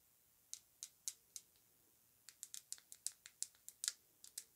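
Long nails tap and scratch the glass body of a slim Aerin glass travel rollerball perfume bottle with a metal cap and floral print, held in the hands. Four sharp, bright clicks come slowly, then a quicker, uneven run of light taps follows. Each tap is crisp and very short, with almost no ring.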